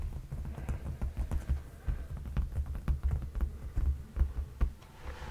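Fingertips of both hands tap and lightly scratch a dark padded leather sofa cushion. The taps land as soft, muffled low thumps around 70 Hz that die away almost at once, in an uneven stream with faint scratchy rustle between them.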